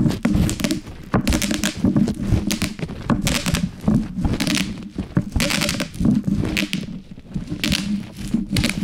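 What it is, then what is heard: Plastic bubble wrap being popped. A large sheet of plastic bubble wrap with hollow air cells lies on a wooden cutting board and is crushed by a wooden rolling pin rolled over it with both hands. It produces a steady stream of bubbles popping in clustered bursts: sharp, bright crackles over a dull, low thunking body. The pops come in rolling waves with brief, quieter gaps between passes.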